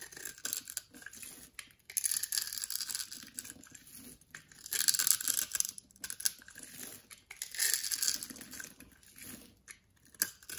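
A box-cutter blade scrapes and slices into the edge and face of a solid orange-beige soap bar held in the palm, so flakes and cubes break off. Bursts of bright, crisp scraping and crackling come in uneven waves with short quiet gaps between them.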